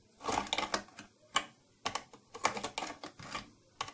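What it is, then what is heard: Plastic case tapped with fingernails. Long nails tap repeatedly on the upper front of a closed, hollow purple plastic tattoo kit case with silver trim. The result is a quick, uneven run of crisp, clicky taps that stop dead with almost no ring, bright and thin with hardly any low end.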